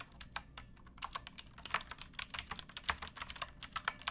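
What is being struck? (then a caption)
Mechanical keyboard with plastic keycaps. Both hands type with fingertips and nails on a pink backlit mechanical keyboard with plastic keycaps. About 23 short, bright, crisp clicks come in a quickening run after a sparse start, each dying away almost instantly over a quiet low hum.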